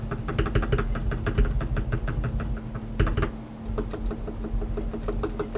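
A single fingertip taps the keys one at a time on a black tenkeyless mechanical keyboard with plastic keycaps, lubed switches and RGB backlighting, sitting on a white desk. Each press gives a short, soft, dull clack that dies almost instantly, in an irregular, unhurried rhythm over a steady low hum.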